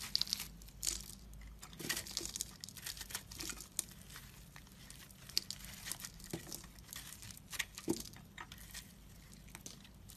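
A utility knife blade scrapes and cuts thin, crumbly layers off a hand-sized, solid pink and white dried soap bar with a dry, crumbly cut face, held in the fingers. The sound is a quiet, steady run of bright, crisp crackling and crinkling scrapes with many small sharp crunches and almost no low end or ring.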